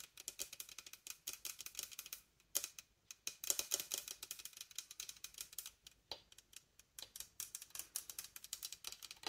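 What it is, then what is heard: Wooden bassoon joint with metal keys. Long nails tap rapidly on the metal keys, metal ring and polished wood of a large, hollow wooden bassoon joint. The result is a quiet, dense stream of bright, dry clicks and ticks that die away almost instantly, with brief pauses between bursts.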